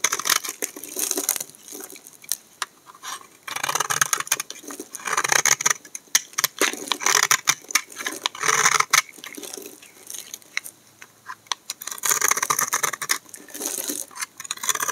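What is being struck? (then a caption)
Bar of laundry soap. A hand-sized solid tan bar of dry laundry-type soap is held in the hand and shaved with a utility knife blade, and chunky flakes fall onto a pile. The clip is full of dense, crisp scraping and crunching with many short, bright clicks and pattering, in bursts separated by brief quieter gaps.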